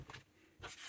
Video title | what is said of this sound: Storing Your Backup Hard Drive - KiwiFotos Hard Drive Case | it's not fully secure and it's knocking about inside of the box